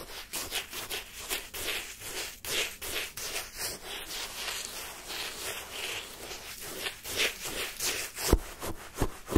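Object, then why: Lemon sherbet shaved ice scraped with a wooden spoon. A wooden spoon digs and scrapes through the icy surface of pale yellow, granular lemon sherbet shaved ice in a cup held in the hand. It makes a steady run of bright, gritty crunching strokes, roughly three per second and unevenly spaced. A few sharper crunches stand out near the end.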